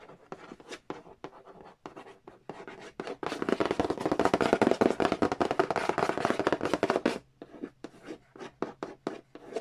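Fingernails trace and scratch across the glossy printed cardboard lid of a large, flat, hollow Monopoly Nintendo edition board game box. Quick, scattered taps and short scrapes open the clip, then build into about four seconds of dense, continuous, brighter scratching. The sound thins back out to sparse taps at the end.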